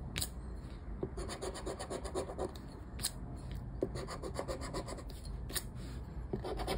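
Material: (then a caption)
Paper. A round black plastic scraper held in the fingers scratches across a flat paper lottery scratchcard with a latex scratch-off coating, lying on a wooden table while the other hand holds the card steady. Quick, continuous rasping strokes with a bright, gritty texture are punctuated by occasional sharper ticks as the coating is scraped away.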